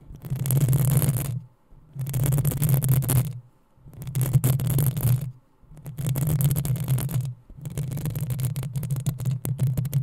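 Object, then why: Metal mesh microphone grille. Long nails scratch the hollow metal mesh grille of a black desktop microphone in five separate bursts with brief silent gaps between them. Each burst is a dense, crackly scraping with a heavy low rumble underneath and a bright hiss on top.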